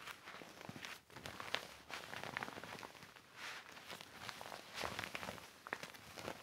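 A deflated, hollow silver and clear vinyl inflatable mat with colored stripes lies flat on carpet and is wiped and rubbed with a yellow microfiber cloth held in the hand. The vinyl gives off bright, crinkly rubbing and squeaking with short sharp accents throughout.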